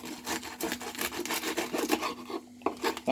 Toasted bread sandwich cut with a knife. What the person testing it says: çıtır çıtır sesi duyuyor musunuz